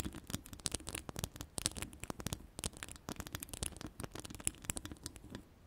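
Long pastel acrylic nails scratch a hollow metal mesh microphone grille with several fingers at once. The result is a dense, rapid run of short, dry scratches and ticks, with bright, crackly highs and soft, low thumps underneath. Each stroke dies away instantly with no ring.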